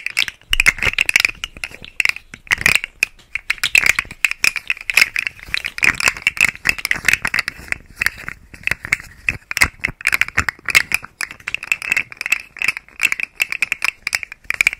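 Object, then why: Plastic segmented fidget toy. Fingers work a rainbow segmented plastic articulated fidget slug toy draped over and beside a microphone, making its segments click and rattle. The result is a continuous stream of dense, bright, very short clicks and rattles that peak around 2.5 kHz and carry almost no low end.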